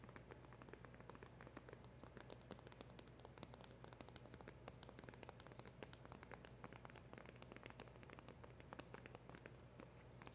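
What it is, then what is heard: Cardboard box, hollow. Long acrylic nails tap quickly on the front of a small, hollow black cardboard packaging box with a round emblem sticker. The result is a quiet, continuous patter of crisp, light clicks, steady like rain, over a faint, constant low hum.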